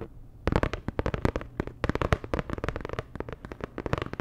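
A flat, postcard-sized printed cardboard Dior packaging card with a star design, held in hand, is tapped and scratched with long nails. A dense run of quick, dry taps and scratchy strokes follows a brief quiet start, with low, dull thuds under short bright scrapes that die away almost instantly.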